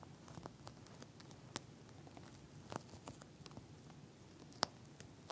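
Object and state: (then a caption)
Gel bead eye mask tapped with nails. Long nails tap and scratch the bumpy surface of a pink eye mask with a soft plastic shell filled with gel beads, lying flat. Quiet, dry crackly scratching and patter carries through, broken by a few sharp, bright clicks that stop dead with no ring.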